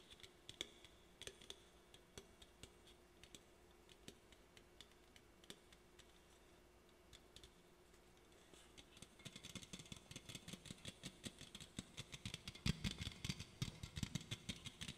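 Fingernails tap the side and bottom rim of an aluminum soda can. Sparse, bright, dry clicks come at first, then speed up after about nine seconds into a dense, rapid patter of short taps with no ring.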